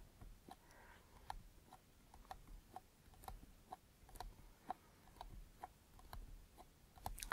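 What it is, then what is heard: Wooden trinket box tapped with fingernails. Long, dark-painted nails tap on the lid and sides of a small, closed, hollow wooden trinket box with metal corner fittings, held in both hands. The result is about fifteen quiet, separate, dry clicks, each with a short hollow knock and a bright tick that dies away almost at once. A low, soft rumble sits underneath.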